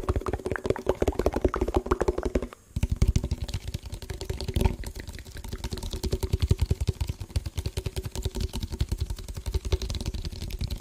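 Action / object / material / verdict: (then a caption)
tap / plastic food tub / plastic / none. An empty, hollow yellow printed plastic food tub is held close and tapped rapidly with fingertips on its bottom and sides. The result is a dense stream of soft, hollow, low-pitched tapping with short dry clicks, pausing briefly near the three-second mark before continuing steadily to the end.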